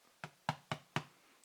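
A loaf of homemade bread, taken out of its pan and turned upside down, is tapped four times on the bottom. Each tap is a short, hollow knock with a low thud near 150 Hz that dies away quickly. The hollow sound shows the bread is baked through and airy inside, with no wet spots.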